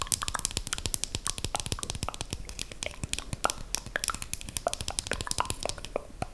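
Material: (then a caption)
Plastic. A slim, small, solid dark brown KVD eyeliner pen, likely plastic, is held up close and tapped and scratched along its barrel with long green acrylic nails. Dense, rapid clicky taps and crisp scratching run throughout, with short sharp transients and no ringing.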